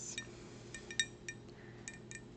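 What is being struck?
Glass cup.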